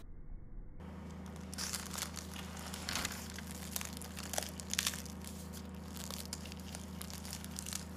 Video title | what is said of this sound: ❗️KAT KAT SAYA ÇÖREĞİ TARİFİ MEŞHUR DIŞI ÇITIR ÇITIR İÇİ TEL TEL SAYA ÇÖREĞİ TARİFİ✔️ | escuchar el sonido crujiente de la nuestra